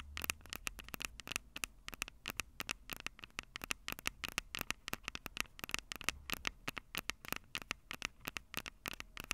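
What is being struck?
Metal mesh microphone capsules on a handheld recorder.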